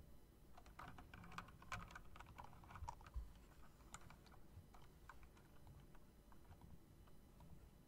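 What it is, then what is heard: Mechanical keyboard being typed on. Fingertips and long nails tap quickly on a backlit plastic and metal typewriter-style mechanical keyboard with round typewriter keycaps. The result is a quiet, irregular stream of short, crisp clicks and clacks over a steady low rumble.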